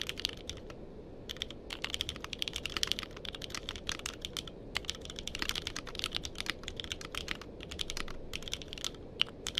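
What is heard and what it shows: Fingertips type steadily on a compact mechanical keyboard with a purple case and plastic keycaps, close to a microphone. Dense, fast clicks and clacks with very short decay, bright around 3 kHz, ride over a constant low, soft background rumble.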